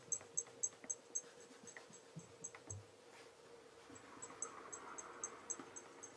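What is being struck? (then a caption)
Leather loafer. A black leather Regal tassel loafer is held in one hand while its toe is rubbed with cloth-wrapped fingertips to build a mirror shine. Quick, bright, squeaky rubbing strokes repeat in a fairly steady rhythm over a faint constant hum.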